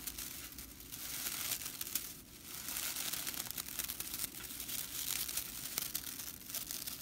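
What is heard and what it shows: Fingers and long nails bend, scratch and flick the flat, dry straw bristles of a whisk broom. The result is a steady, dry crackling rattle, bright and hissy with almost no low end. It swells and dips slightly, with brief sharp ticks throughout.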